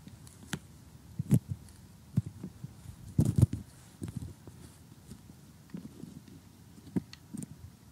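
Fingernails and metal tweezers tap on loose, thick cardboard jigsaw puzzle pieces with grey backs. Short, dull, low-pitched clicks come in irregular clusters, with a denser crunchy burst near the middle. Each click dies away almost instantly.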